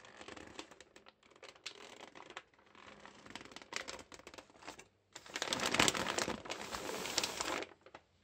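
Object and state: Plastic mailing bag.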